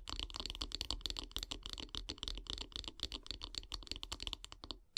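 Long grey nails tap rapidly and scratch along a solid light-wood bath brush handle resting on log slices. Quick, dry, bright clicks follow one another in a dense, steady run, each dying away almost at once over a faint low rumble.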